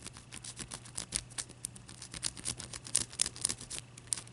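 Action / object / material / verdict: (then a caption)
tap / block of ice / ice / none. Long dark-purple nails scratch and tap the surface of a clear, solid, palm-sized ice chunk as it is held and turned on a white towel. Quiet, crisp, bright clicks and scratchy rasps come in an irregular patter over a faint, steady low hum.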